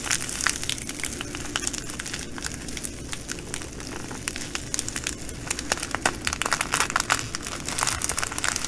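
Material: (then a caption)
Plastic, glass. Fingers fold and squeeze a clear plastic bag of green glass bugle beads while long nails scratch the plastic. Dense, bright crinkling and sharp clicking ticks come in bursts over a low, steady hum, growing busier toward the end.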